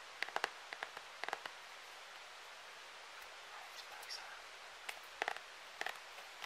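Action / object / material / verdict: tap / hard plastic glitter phone case / plastic / none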